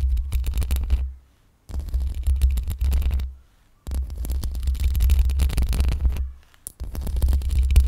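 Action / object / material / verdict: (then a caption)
scrape / metal mesh microphone grille / metal mesh / none. Long pink acrylic nails on both hands slowly scratch the hollow metal mesh head grille of a black Blue Yeti-style USB condenser microphone, which sits on a stand with a rhinestone band. The scratching comes through as a deep, throbbing low rumble with a faint gritty texture. It plays in four stretches separated by brief silences.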